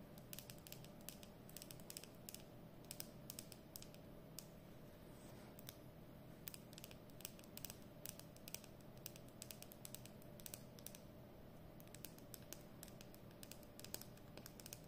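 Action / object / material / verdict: tap / plastic marker barrel / plastic / none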